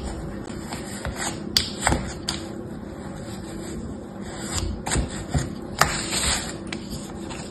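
A small orange plastic toy shovel, held in the fingertips, scrapes and smooths a solid layer of moist beige kinetic sand filling a shallow mint-green plastic tray. A soft, steady grainy rubbing hiss runs throughout, broken by about seven sharper, brief scraping strokes.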